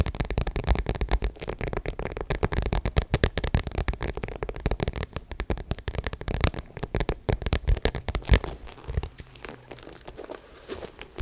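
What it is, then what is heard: Vinyl crossbody bag scratched and tapped with nails. A small, hollow, rectangular crossbody bag of shiny gold metallic vinyl faux leather is tapped and scratched with long nails. Dense, rapid crinkly taps and scratches sound over a deep low thud, easing into softer, sparser scratching near the end.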